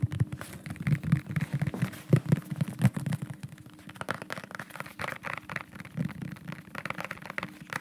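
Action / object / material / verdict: tap / plastic bottle / plastic / none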